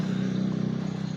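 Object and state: Nothing is struck.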